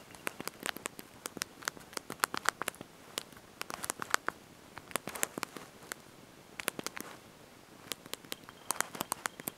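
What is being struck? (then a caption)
Plastic keys of a slide-out phone keyboard. Thumbs and fingertips press and tap the small backlit plastic keys of a handheld slide-out mobile phone's QWERTY keyboard while typing a message. Dozens of quick, sharp, bright clicks come in uneven bursts, with a short pause partway through. Each click is dry, with almost no ring and very little low end.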